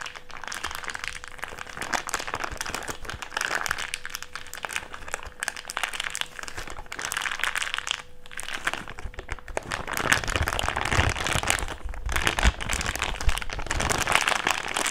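An empty thick clear plastic bag is squeezed in the hands, then unfolded and crinkled, giving continuous dense crackling and crunching across a broad, bright range. The rustle grows busier and fuller in the second half as the bag is opened out, with a faint steady hum underneath in the first part.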